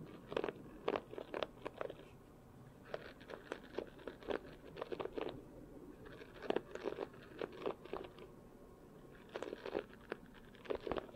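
A red and black plastic paddle hairbrush with a solid handle and rows of nylon bristles is held close, and fingertips run over and flick the bristles. Scratchy, crunchy bursts come in irregular clusters, with short quiet gaps between them.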